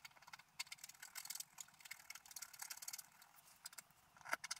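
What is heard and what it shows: A wooden stylus scratches through the coating near the top edge of a flat, black-coated scratch art paper sheet lying on a table. The result is a quiet run of dry, rapid scratchy strokes that sound bright and hissy, with almost no low end and a sharper scrape near the end.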